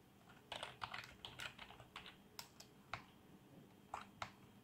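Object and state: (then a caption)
Plastic membrane keyboard being typed on. Fingertips of both hands type on a black plastic membrane keyboard with RGB backlight. Fourteen soft, short keystroke clacks come in irregular bursts and single taps, bright with almost no ring, over a quiet low hum.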